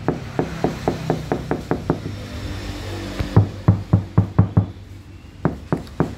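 Knocks on the lower body panel of a Honda New BR-V that is damped with an asphalt sheet, compared against a section damped with butyl rubber. About twenty short, dull, low-pitched knocks come in three bursts, each dying away almost at once with faint music underneath. The asphalt-damped panel sounds harder than the butyl one, like knocking on a wall or a board.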